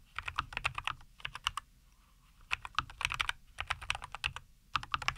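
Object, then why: Mechanical keyboard with plastic keycaps. A NuPhy Air75 V2 compact 75% mechanical keyboard with a white case, green and white plastic keycaps and linear Cowberry switches is typed on with the fingertips of both hands on a wooden desk. Bursts of quick, bright, clacky keystrokes with a light low thock stop dead with no ring, broken by short quiet pauses.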